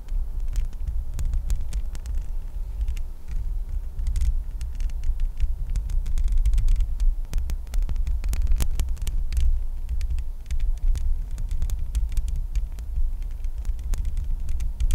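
Long nails scratch and tap on the bare, hollow metal mesh grille of a microphone. A deep, steady rumbling throb fills the low end throughout, while rapid, sharp, bright clicks and scratchy ticks scatter densely over it.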